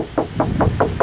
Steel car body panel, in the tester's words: you will hear if there's body filler it'll sound like you're knocking on a wooden door this you can hear the tin in it this is okay